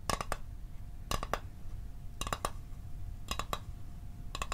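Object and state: Small metal mint tin tapped with fingernails.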